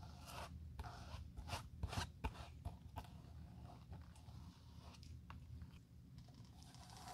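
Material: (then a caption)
Leather. A bristle brush is rubbed back and forth over a worn, solid leather shoe sole held in a gloved hand, spreading dark glue across it. Quick, soft scratchy strokes repeat unevenly over a low, steady rumble, with a few brighter scraping swipes standing out.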